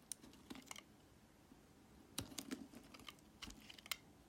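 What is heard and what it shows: A metal utility knife blade shaves thin slices off a solid, translucent red glycerin soap block held close-up, in repeated scraping strokes. Each stroke gives a short, crisp, bright click-like scrape with almost no ring. The strokes come in quiet, irregular clusters separated by brief pauses.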